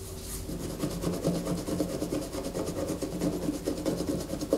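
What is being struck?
Bar of soap.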